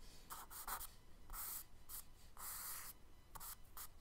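A charcoal stick makes repeated scratchy strokes on the right side of a kraft paper sketchbook page resting on a wooden desk. Short and longer bursts of dry, bright scraping rise and fall with brief pauses between strokes, over a quiet low rumble.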